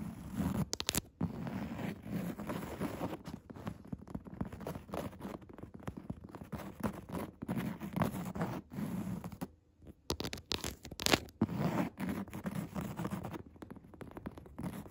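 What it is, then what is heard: Woven fabric chair seat. Long red nail tips tap and scratch the dark grey, coarse woven upholstery fabric of a padded chair seat. The result is a quiet, dense run of soft, dry scratching and light pattering taps that stops briefly around the ten-second mark, then resumes with a few sharper taps.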